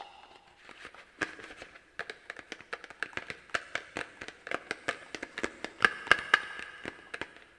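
A small, hollow, orange plastic Halloween pumpkin held in hands is tapped and scratched by long black plastic claw tips on garden gloves. Quick, irregular, hollow plastic clicks come in a steady stream with soft scratching between them, ringing briefly with a bright tone near 1.6 kHz. The sound stays quiet and close, and the taps grow a little louder toward the end.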